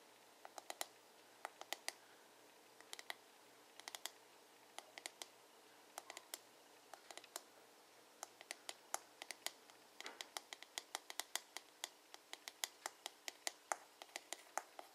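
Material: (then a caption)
Plastic. Fingertips and nails tap and scratch the glossy blue plastic back of a hollow paddle hairbrush. Quiet, sharp, dry clicks come in irregular bursts and quick runs, bright and hollow-sounding with almost no ring. Faint scratching fills the gaps between taps.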